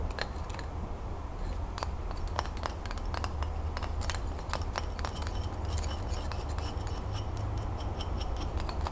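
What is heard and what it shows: Long nails tap quickly on the flat wooden ends of a bundle of about a dozen twig colored pencils held end-on. The taps come through as rapid, light, dry ticks with a brief bright edge, scattered irregularly over a steady low hum.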